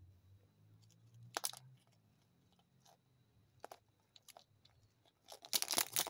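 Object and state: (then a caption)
Plastic toy capsule. A small hollow yellow plastic ball with a football pattern, likely a toy capsule, is held in one palm above a pile of untouched Kinder Joy eggs while the fingertips and nails of the other hand tap and click on it. Short, bright, crunchy clicks and scratchy bursts come in irregular clusters, loudest near the end, over a faint low hum at the start.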